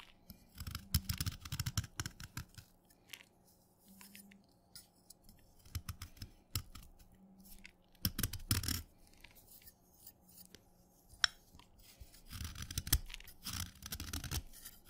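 A steel kitchen knife scrapes flakes off the top of a short, solid, wet orange chalk stick held by fingertips. The result is bursts of crisp, gritty scraping and crackling, with sharp bright edges, separated by quiet pauses over a faint steady low hum.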